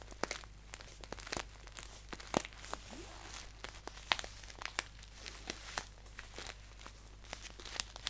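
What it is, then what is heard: Paper tea pouch. A green paper tea pouch is held upright while fingers crinkle and squeeze the paper. Many sharp, bright crackles and crunches pop out over a quiet, steady low hum.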